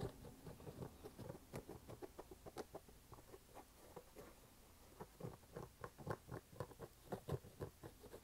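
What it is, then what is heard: Canvas sneaker. An empty red canvas low-top sneaker is held in both hands while fingertips and nails tap and scratch its canvas upper and rubber sidewall. The result is a quiet, irregular patter of short, dull, low taps that die away almost instantly, mixed with soft scratchy rustling.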